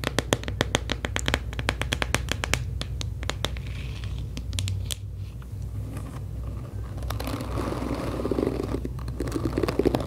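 Long acrylic nails tap the back of a pink hollow plastic paddle hairbrush and scratch its black nylon bristles. Quick, sharp clicking taps come in fast runs for the first few seconds, then give way to a softer, bright scratching and crinkling texture. A steady low hum sits underneath throughout.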